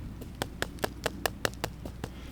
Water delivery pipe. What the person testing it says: If I tap on this line, you can hear that it's empty.